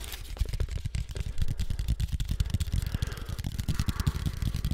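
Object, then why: Thin cardboard sheet. A thin, flat sheet of brown cardboard cut in the shape of a floppy disk is tapped and scratched quickly with fingertips and nails. It gives a rapid, steady run of short, dull, low thuds with brief scratchy rustles between them, and each tap dies away almost at once.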